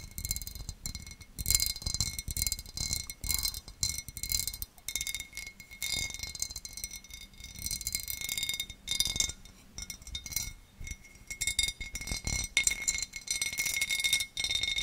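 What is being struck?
Cut glass serving dish.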